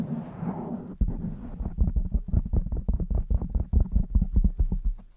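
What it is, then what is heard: Foam microphone windscreen being scratched. Long nails scratch and stroke the surface of a blue foam microphone windscreen while one hand holds its side. A soft, breathy rustle gives way after about a second to a rapid run of deep, muffled scratching thumps, almost entirely low in pitch with no bright edge, fading out at the end.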